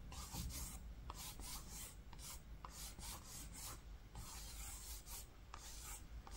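Fingertips rub and trace across the green linen-textured fabric cover of a book with a brown panel. Soft, rasping strokes repeat steadily, each giving a brief bright scratchy hiss over a faint low rumble. The sound stays quiet and continuous throughout.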